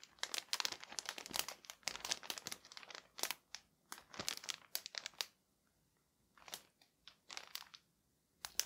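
Both hands grip a thin, clear plastic garment bag packed full with a folded purple fabric suit jacket, crinkling and rubbing the plastic with their fingertips. Dense, bright, crackly crinkles fill the first five seconds. After a near-silent pause, a few sparser crinkle bursts follow.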